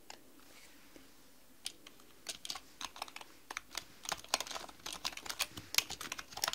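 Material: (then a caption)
Plastic. A black mechanical computer keyboard with plastic keys is typed on with long manicured nails and fingertips. A few sparse taps at first give way to rapid, increasingly dense typing. The sharp, bright clicks end almost instantly.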